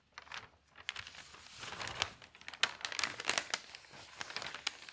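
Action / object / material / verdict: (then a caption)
scrape / newspaper sheets of newsprint / paper / none. An open newsprint newspaper lies on a table as a page is turned, then fingertips with long nails rub and smooth the paper flat. Bright, dry crinkling and rustling fill the clip, broken by many short, crisp ticks and scratches with almost no low end. The paper settles with a soft, continuing rustle.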